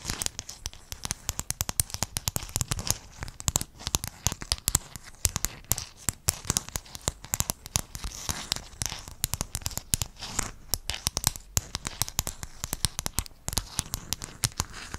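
Fingers and nails scratch and tap the faces of a sheet of small silver-blue hexagon mosaic tiles held close to a microphone. The result is a dense, continuous stream of sharp, bright clicks and scratchy crinkling with no ringing, over a steady faint low rumble.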